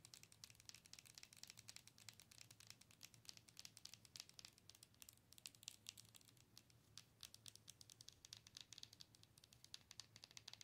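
Long nails rapidly tap the surface of a hollow, color-changing plastic owl night light. The result is a quiet, continuous stream of dry, bright clicks with a crinkly, pattering texture that lasts about eleven seconds. Each tap is sharp and dies away almost instantly, with very little low end.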